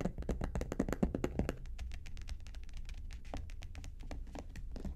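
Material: Faux leather.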